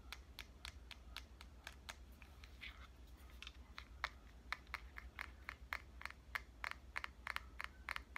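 Fingernails tap on the back and edges of a small, hollow red compact digital camera with a metal and plastic body. Around thirty quick, dry, clicky taps come in an uneven rhythm, each bright and sharp with a focus near 2 kHz and almost no ring. A steady low hum runs underneath the whole time.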